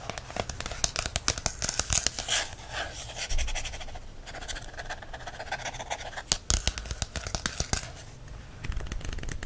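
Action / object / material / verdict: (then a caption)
scrape / paperback book with glossy card cover / card, paper / none. Fingertips scratch and tap the glossy card cover of a paperback herbs book, making quick, dry clicks over a bright, hissy scratching texture. The book is then turned, and the fingertips scratch along the paper page edges, giving a softer, steady rasp with occasional sharper taps.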